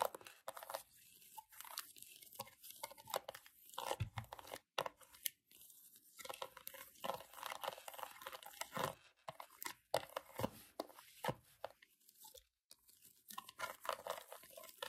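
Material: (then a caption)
Plastic. Long acrylic nails tap and scratch the rubber buttons and casing of a small, solid handheld plastic LED remote held in the hand. The result is a dense stream of crisp, bright scratches and short clicking taps, broken by brief silent pauses.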